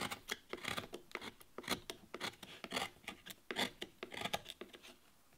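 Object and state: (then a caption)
Wooden relief carving panel. A carving knife cuts and scrapes a small, flat, solid light-wood board carved with a rose-leaf relief while the other hand holds it down. Short, dry, bright scraping and shaving strokes come in quick irregular bursts, with almost no low end and no ring after each cut.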